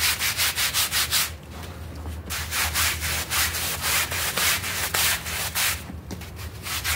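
A stiff-bristled hand brush scrubs a small, dirty blue synthetic pile rug that is wet with foam and lying on a tiled floor. Quick, bright, rasping swishes repeat in bursts of strokes across the pile, with brief softer pauses between bursts over a steady low hum.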